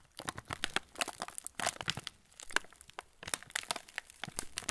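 A full yellow plastic-film TUC cracker packet is held in both hands while fingertips press and rub the wrapper. Dense, bright crinkling follows in quick, sharp bursts with short pauses between them. Each burst is crisp and dies away almost instantly.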